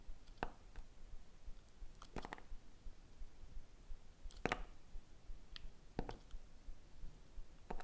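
A small metal-handled blade cuts and shaves thin slices off a small, solid red soap bar molded like a strawberry, held in fingers with painted nails. Quiet, crisp clicks and short scraping cuts come at an uneven pace over a soft, low background hush. Each cut snaps off quickly, with no ring afterward.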